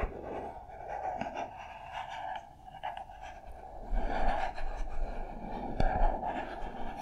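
Long nails tap and scratch the smooth faces of a small, hollow white printed cardboard product box labeled SPARV, held in the hands. A steady, papery scratching with a hollow midrange ring runs throughout, with a few sharper, louder taps near the end.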